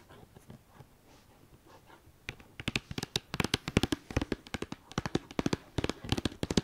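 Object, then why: Cardboard palette sleeve. Long dark nails scratch softly at the flat top of a white cardboard eyeshadow palette sleeve with a red star, resting on a fleece blanket. After about two seconds, a rapid, irregular run of sharp, dry taps begins and continues to the end, each tap snapping off quickly with no ring.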